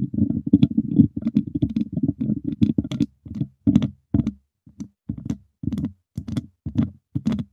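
Two wooden chopsticks tap and scratch the hollow wire mesh grille of a silver microphone, making a quick, close series of dull, low-mid knocks with faint bright scraping ticks. The taps come in dense clusters at first, then space out into separate short bursts, each dying away almost at once.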